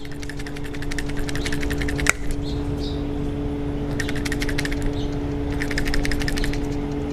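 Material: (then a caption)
Metal. A removed automotive PCV valve, with an internal spring and a plastic or metal check ball, is shaken by hand, producing rapid bursts of bright, clicky rattling as the ball moves freely inside, with one sharper knock partway through over a steady low hum. The free-moving ball shows the valve is good; a stuck ball would make no sound, meaning the valve is stuck open or closed and bad.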